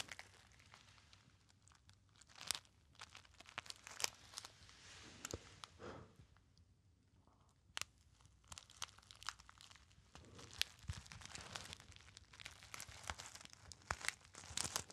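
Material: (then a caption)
Metallized foil. A small, hollow, apparently empty gold metallized foil pouch is crumpled by fingertips close to the ear. It makes a steady stream of bright, dry crinkling with sharp crackles and occasional louder snaps, with little low end and only short pauses.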